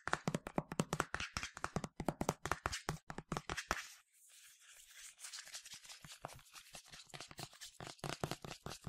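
A medium yellow plastic sunscreen spray bottle with a translucent cap, hollow and partly filled, is tapped quickly with fingernails, giving sharp, dry clicks with a hollow low thud beneath and almost no ring. Around the middle, the tapping stops briefly for a soft, bright hiss, then resumes as quieter, denser clicking.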